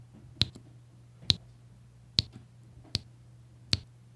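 A plastic drill pen taps small solid beige resin diamond painting drills onto a flat adhesive grid canvas, one after another. Five short, bright clicks land at uneven intervals, each dying away almost instantly over a faint, steady low hum.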